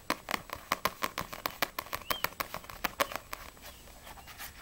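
Long nails tap fast on the glossy paper front cover of a small, solid paperback manga, No.6 volume 5, held in both hands. The result is a quick, uneven run of crisp, dry clicks with bright edges and almost no ring, growing softer and sparser toward the end.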